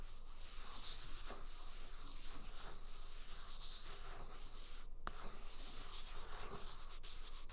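A full, large, soft white paper toilet roll is held beside a binaural microphone while the flat of a hand and fingertips rub and scratch its paper surface. The result is a steady, close, papery scratching and rubbing hiss with bright upper texture and a low rumble underneath. Near the five-second mark, a brief hush ends in a soft tap.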